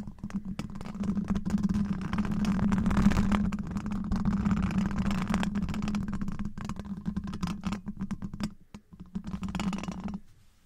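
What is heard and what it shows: Long black rubber claw gloves scratch and tap a hollow, domed steel wire-mesh microphone grille from both sides. The result is a dense, irregular stream of rubbery scrapes and soft taps over a steady low hum near 200 Hz, with quick clicks standing out toward the end before it fades to near silence.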